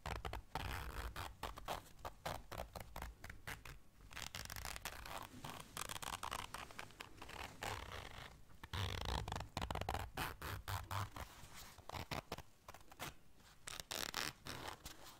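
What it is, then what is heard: Fabric zipper case, scratched and zipped. Long dark nails zip and scratch a small round black fabric zipper case held in the hands. Rapid, irregular, dry scratching and raspy zipper strokes come in dense bursts across the clip, bright and broadband, over a steady low hum.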